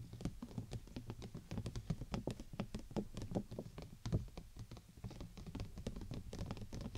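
Long nails tap rapidly on the top of a large, hollow, clear plastic (PVC) dome umbrella canopy, near the tip, with the canopy placed over the microphone. Dozens of quick, dry, hollow taps patter unevenly, each with a soft low thump and a brief bright click that dies away almost instantly.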